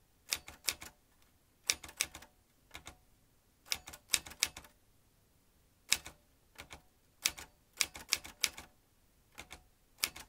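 Fingertips press the round keys of a vintage metal manual typewriter, swinging its typebars as it types. The sharp, bright clacks come in quick clusters separated by short pauses, each strike snapping off almost at once with a faint metallic ring.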